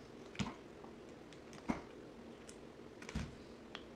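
A box cutter blade scrapes and slices flakes off a solid green bar of soap held in the hand. A few short, crisp cuts with brief bright crackle stand out over a quiet low background hum, each dying away almost at once.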